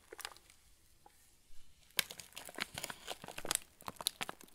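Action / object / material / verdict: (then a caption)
scrape / plastic film cracker packet / plastic film / none. A hand-sized yellow plastic film packet of TUC crackers, full of crackers, is held in both hands while fingertips squeeze and rub the wrapper. Sharp, bright crinkling comes in sparse bursts at first, then turns into a denser run of crackly crunches after a brief quiet stretch.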